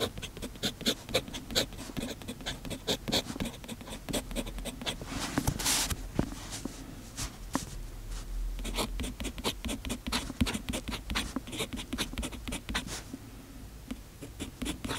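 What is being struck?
Metal pen nib on a paper notebook page.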